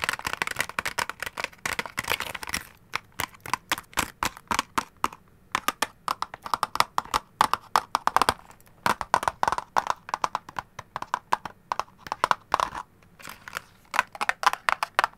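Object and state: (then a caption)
Cardboard candy box. Long gold claw nails tap rapidly on a flat, hollow, orange printed cardboard candy box held up close, producing a steady stream of dry, clicky taps. Each tap is short and crisp with almost no ring, centred in the mid range around 1.2 kHz with a light bright edge and almost no low end. A brief lull comes midway before the tapping picks up again.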